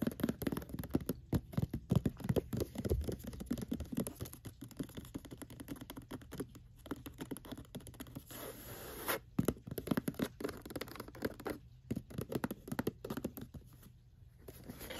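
Long fingernails and fingertips scratch and tap across the flat top of a medium rectangular gift box with unknown contents, wrapped in white paper printed with a pine tree and a name, lying on a rug. The sound is a dense stream of quiet, dry scratches and soft taps, mostly low and muffled, with no ring after each touch. Brief pauses break up the rapid scraping before it resumes.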